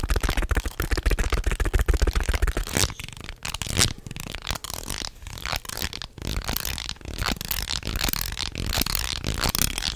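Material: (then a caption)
Wood. A long segmented wooden snake toy of light natural wood, made of small solid linked pieces, is held in both hands and bent and flexed so the segments clack against each other. Rapid, irregular, bright clicks and clatters come in dense bursts over ten seconds. A low rumble sits under the first few seconds.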